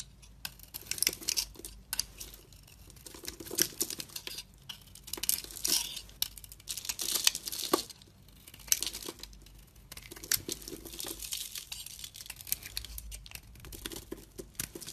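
A metal box-cutter blade scrapes and carves thin green shavings off a hand-sized solid bar of soap, green inside with a brown outer layer, held in one hand with long red nails. Short bursts of dry, bright scraping and crinkling repeat with brief quiet gaps between strokes. The sound is mostly high and crisp, with little low end.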